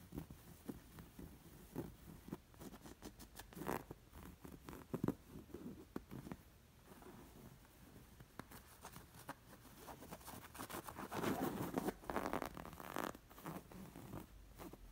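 Long nails scratch and trace the raised embroidered stitches on a square coral linen stuffed cushion. Soft, dry scratching and brushing strokes patter in an irregular rhythm, each one short with no ring. A denser, louder stretch of rubbing comes near the end.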